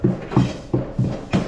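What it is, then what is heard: Hollow bathtub with no sand bedding. Five knocks on a bathtub with no sand packed around or under it, each a hollow, low thud that resonates briefly. The tub sounds hollow and not sturdy because the sand bedding that would make it solid is missing.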